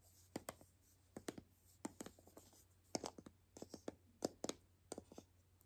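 A palm-sized hollow white plastic toy capsule ball, held in both hands, is scratched and tapped along its seams with long nails. About 13 quiet, dry clicks and short scratches sound in irregular clusters, each dying away almost instantly, over a faint steady low hum.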